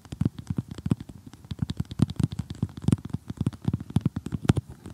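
Several painted fingernails rapidly tap and scratch across the surface of an assembled flat cardboard jigsaw puzzle. The result is a dense, uneven run of quick, dull taps, mostly low and thumpy with faint bright clicks on top, each dying out almost instantly.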